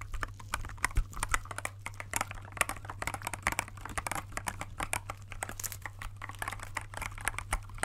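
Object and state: Clear plastic mechanical keyboard.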